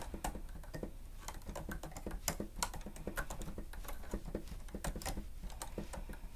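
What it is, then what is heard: Plastic stenotype machine. Both hands rapidly press the keys of a grey plastic stenotype machine with a screen, using fingertips and nails. The result is a dense, steady patter of short, dry plastic clicks and taps with bright edges over a low, thumpy body.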